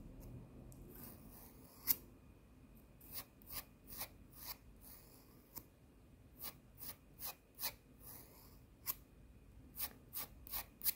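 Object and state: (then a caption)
Emery nail file scratched with fingernails. A thin, solid emery nail file with an abrasive surface, held in one hand, is scratched and rubbed with the long nails of the other hand. Short, bright, rasping scratches come in a quick, uneven series, each dying away almost instantly over a quiet, low hiss.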